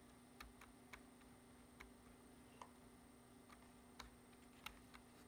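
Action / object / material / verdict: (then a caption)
tap / plastic computer keyboard keys / plastic / none. Fingertips type on the keys of a black plastic computer keyboard, producing nine sharp, short clicks spaced irregularly over about five seconds. Each tap is bright and dies away almost at once, over a quiet, steady background hum.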